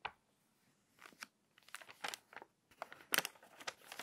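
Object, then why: Paper magazine pages. Long nails scratch and rub the crinkly glossy pages of an open, water-damaged paper magazine, and a page is turned. Short, bright bursts of crackling and rustling come in clusters separated by near-silent gaps, with almost no low end and each sound dying away instantly.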